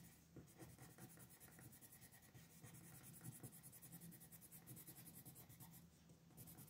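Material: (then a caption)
Paper. A pink colored pencil is rubbed and scratched back and forth over a thin paper coloring sheet lying flat on a desk, coloring in small areas. The result is a quiet, continuous scratchy rasp with fast repeated strokes, a low hum underneath and faint bright hiss on top.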